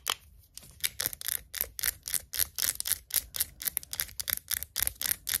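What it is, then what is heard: Glass jar of pickled onions tapped with nails. Long acrylic nails tap the side of a hand-held glass jar full of pickled onions in liquid, with a paper label. About two dozen quick, irregular, sharp clicks sound bright and high with almost no low end, each dying away instantly.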